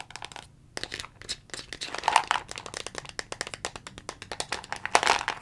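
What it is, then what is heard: Plastic vitamin bottle. Long fingernails tap rapidly on the green cap and label of a dark brown plastic Jamieson vitamin bottle, making roughly forty quick, dry clicks. The clicks are bright and crisp, die away almost at once, and have a faint hollow ring near 900 Hz.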